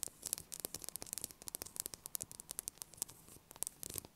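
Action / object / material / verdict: tap / bar of soap tapped with fingernails / soap / none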